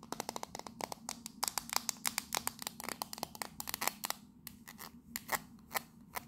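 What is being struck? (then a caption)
Small metal tea tin. Long nails rapidly tap and scratch the side of a hollow, hand-sized octagonal printed metal Fortnum & Mason "Victoria Grey" tea tin with its lid on. The result is a dense run of short, bright metallic clicks with a thin tinny tone and no lingering ring. The tapping thins out to fewer, spaced taps near the end over a faint steady low hum.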